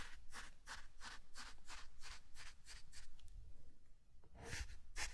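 A small wooden hand rake with a long handle is drawn through fine dry sand in a shallow rectangular tray, its teeth scratching and dragging to cut grooves. A steady run of soft, hissy strokes repeats in quick rhythm, then pauses briefly before a couple more brighter scrapes. Underneath sits a quiet low rumble.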